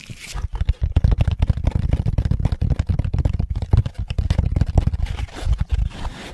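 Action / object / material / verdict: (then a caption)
tap / moulded pulp cardboard egg carton / pulp cardboard / none. A hollow moulded pulp cardboard egg carton is held in both hands and flipped over while fingertips tap and scratch its cups and lid. Rapid, dull, low thuds mix with dry scratching and light crinkling, each tap dying almost instantly.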